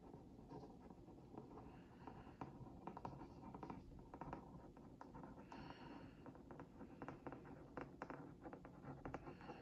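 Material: Cardboard.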